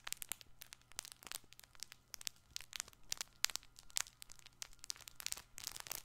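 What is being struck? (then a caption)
Stuffed fabric toy ball with crinkly filling. A soft, multicolored, hand-sized stuffed fabric baby ball with crinkly filling is squeezed and scratched with fingertips and short nails. It gives a rapid run of sharp, bright crinkles and crackles with very short decay over a faint low hum throughout.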